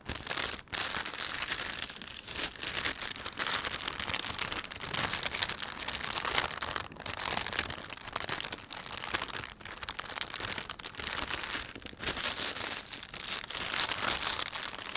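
A thin, empty panda-print plastic shopping bag is rubbed and crinkled by fingertips, giving a steady, bright crackling rustle that runs for the whole clip. The crinkles come in dense, rapid bursts with brief dips between handfuls of motion, and there is almost no low end.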